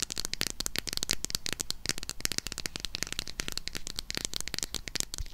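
Long nails tap and scratch quickly over the front and back of a small closed Harry Potter eyeshadow palette with a red printed cardboard cover. The result is a dense run of dry, bright clicks and scratchy rustles that die away almost at once, over a faint low rumble.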